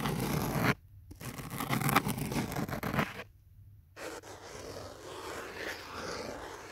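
Fingertips and nails scratch and tap the foam surface of a thick black foam block phone holder with cut-out holes, a phone set inside and held in both hands. Dense, bright, rustling scratches come in bursts, broken by two brief silences. The clip ends in a softer, quieter stretch of scraping.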